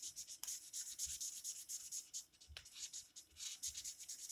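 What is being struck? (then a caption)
Felt-tip marker rubbed on a paper page. A green felt-tip marker, held in the fingers, is rubbed back and forth across the page of an open paper coloring book lying flat on a table while coloring. The result is a quiet, bright, hissy scratching in uneven strokes with almost no low end, broken by a couple of sharper ticks.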